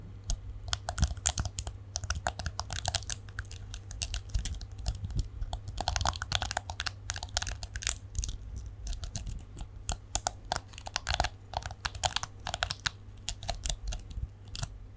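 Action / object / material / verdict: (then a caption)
flick / plastic detangling hairbrush / plastic / none. Fingernails run across and flick the plastic bristles of a small plastic detangling hairbrush, giving a dense, continuous stream of short, bright clicks over a low steady hum. The clicks come in uneven flurries with brief pauses, each one dry with no ring.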